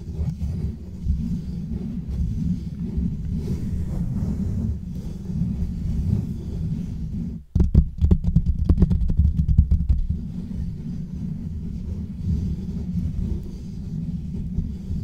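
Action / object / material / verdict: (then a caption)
scrape / metal mesh microphone grille / metal mesh / none. Fingertips and nails of both hands, with rings on the fingers, scratch and rub over the hollow metal mesh grille of a black microphone. The result is a steady, dense, low rumbling rustle. Around the middle it briefly drops out, then gives way to a few seconds of sharper, crackling scratches before settling back into the low rubbing.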